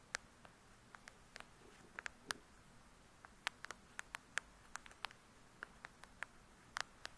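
Long acrylic nails tap close-up on the glossy paper-covered cardboard cover of a thick, solid hardcover book lying flat. Around two dozen sharp, dry, bright clicks with no ring come at an uneven pace over a quiet background.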